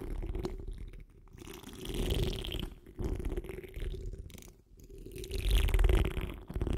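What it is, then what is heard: Metal mesh microphone grille. Long almond-shaped acrylic nails and the fingertips of both hands scratch the large, hollow, dome-shaped metal wire-mesh grille of a condenser microphone up close. The result is a dense, rumbling scratch heavy in low bass, with rough rasping texture and faint bright hiss. It swells louder and softer in uneven waves with brief near-silent gaps.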